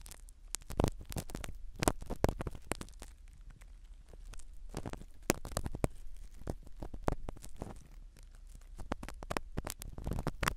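A black spiral ear pick scratches the foam cover of a small black foam-covered microphone set in a silicone dummy ear. It makes a steady stream of quiet, irregular scratching and crackling rubs, each a brief broadband burst with a muffled low thump underneath.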